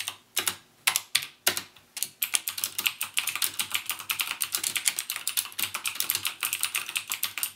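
Fingertips type on a backlit plastic mechanical keyboard with plastic keycaps and Cherry MX Blue switches. A few separate, sharp, bright clicks come first, then they speed up into a rapid, continuous run of crisp keystrokes. Each click stops almost at once.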